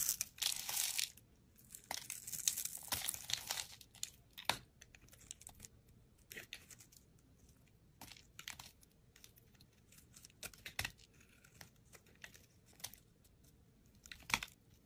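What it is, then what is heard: Soap bar being shaved with a blade. A metal utility blade shaves long curls and slices from a solid brown speckled soap bar held in the hand. Dense, bright, crisp scraping fills the first four seconds, then gives way to scattered short, sharp cuts and crackles over near silence.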